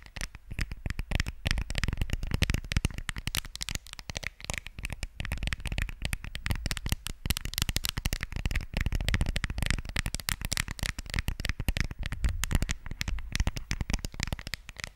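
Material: Plastic.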